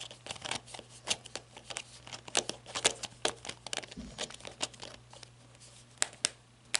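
Long red nails tap and scratch the ribbed grip and head of a black matte flashlight, plastic or coated metal. Sharp, bright clicks mix with dry, crinkly scratching, mostly in the high frequencies, over a faint steady low hum.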